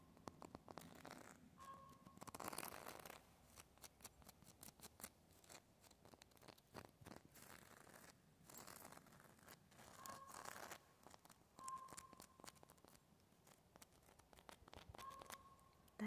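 Fingertips and nails scratch and tap over the rough, flaky grey bark of a large, solid living tree trunk with a knot. Dense, dry, crackly scratching runs throughout, with quick taps and louder rasping bursts near 2.5 s and 10 s. Brief thin tonal whistles around 1 kHz sound several times.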